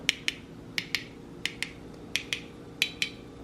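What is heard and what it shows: Ten light taps, in pairs, on the metal lids of cooled glass canning jars of pressure-canned green beans, each giving a short, bright "ting." The ringing tone shows the lids are properly sealed, unlike the dull, flat, hollow sound of an unsealed lid.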